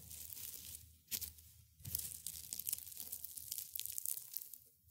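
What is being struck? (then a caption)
Dried rosebuds and petals crushed by gloved hands. A small pile of brittle dried rose buds and petals on a white cloth is crushed and rubbed by hands in black and gray felt gloves. The result is a dense, bright, crunchy tearing crackle, with a sharp burst just after one second and a louder, busier stretch from about two seconds that fades at the end.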